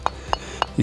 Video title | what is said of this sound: Namibia’s Most Remote Valley: Overlanding the Marienfluss | Ahora, cuando golpeas las dos piezas juntas, puedes escuchar que es, tal vez una de estas. Puedes escuchar que es bastante densa. Así que es una arenisca muy densa.